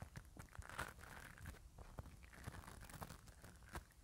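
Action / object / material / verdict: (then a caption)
scrape / metal mesh microphone grille brushed with a bristle brush / metal mesh / none. A black bristle spoolie brush on an orange handle is rubbed and scratched over the hollow metal mesh grille head of a small handheld mini microphone held in one hand. The result is a close, dense stream of scratchy, crackling rasps with many short bursts over a heavy low rumble.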